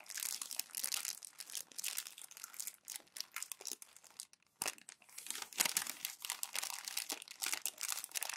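Glossy magazine pages are crumpled and pleated by hands with long nails, producing dense, bright crinkling and crackling with almost no low end. The rustling comes in quick overlapping bursts, briefly goes quiet just past the midpoint, then resumes with a few louder crunches.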